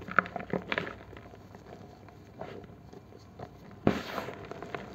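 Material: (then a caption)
Chalk. A solid green gym chalk block is held over a basin of chalk powder and squeezed and crushed by the fingers of both hands until it breaks and crumbles. Sharp, dry cracks and soft, gritty crumbling crackles come in bursts, with a louder snap near the end followed by a spill of crumbling texture.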